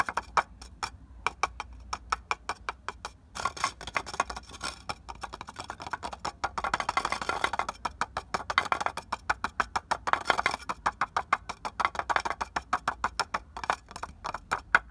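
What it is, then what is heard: Clay brick (tapped). Fingertips tap rapidly on the rough surface of a solid red clay brick resting on the ground. The taps are short, dry, clicky knocks with a mid-pitched, woody tone and almost no ring or low end. They start sparse, then grow into a dense, fast patter with a faint scratchy texture underneath.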